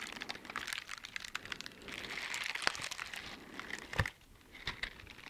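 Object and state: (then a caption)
Silicone dishwashing gloves being rubbed. Teal silicone bristle dishwashing gloves, worn on both hands, have their bristled surfaces rubbed and scratched with the gloved fingers in front of the microphone. The result is a dense, bright, crinkly scratching with quick rustling strokes and a few sharper snapping peaks, followed by softer, sparser scratches at the end.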